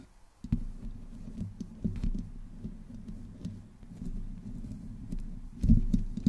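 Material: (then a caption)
Metal mesh. Long nails on both hands slowly scratch the sides of a black microphone's hollow metal mesh grille, with no windscreen on it. The result is a steady, muffled, low rumbling scrape with soft crackles and brief sharp clicks, swelling into a louder scratch near the end.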